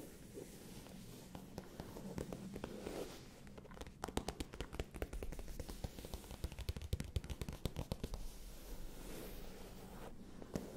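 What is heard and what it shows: Long painted nails and fingertips scratch and tap the surface of a soft, hollow, medium-sized pale pink faux leather cosmetic pouch held against the microphone. Soft, low, muffled scratching runs throughout, with a dense cluster of quick, dry taps in the middle and a few more near the end.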